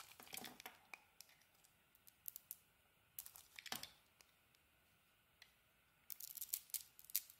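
A utility knife blade shaves thin slices off a solid pink soap bar held in hand. Quiet, bright, crisp scraping and crackling cuts come in short bursts and clusters, separated by near-silent pauses, with almost no low end.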